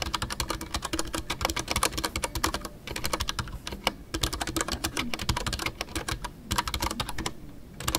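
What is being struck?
Mechanical keyboard with PBT plastic keycaps.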